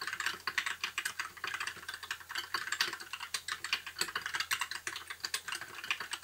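Fingertips of both hands type continuously on a compact white mechanical keyboard with backlit plastic keycaps. The result is a steady, dense stream of bright, sharp plastic clicks and clacks with a very short decay, with no talking.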